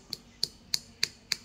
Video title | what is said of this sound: MEMBEDAKAN GELIGA LANDAK ASLI DAN PALSU | yang palsu itu sangat keras dia kulitnya itu sangat keras sekali kalau diketuk